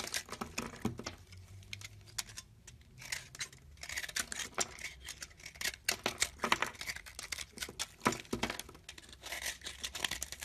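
A metal blade on a teal handle scrapes and carves the surface of a hand-held, palm-sized rectangular bar of solid soap, pale white with green flecks, shaving off flakes. Quick, crisp scraping strokes come one after another with bright, papery rasps and very little low end. Each stroke stops short, without ringing.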